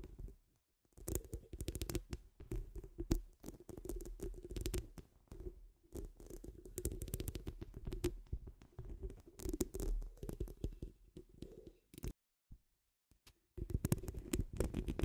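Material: Steel mesh.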